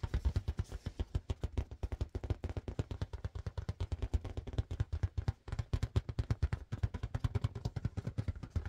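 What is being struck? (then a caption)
Inflated latex balloon. Fast but gentle fingertip tapping on a blue marble-pattern latex balloon, inflated with a balloon pump. The rapid, evenly spaced taps make soft, dull, low thumps around 94 Hz with almost no ring, with a brief pause near the middle of the clip.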